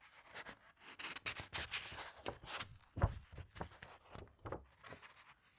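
Long red-painted nails and fingertips turn and squeeze the glossy paper pages of a large, thick hardcover book with a teal cloth cover lying open on a table. A quiet, steady series of soft papery swishes, crinkles and rustles follows, with one sharper page snap near the middle. The brief bursts fade quickly between touches.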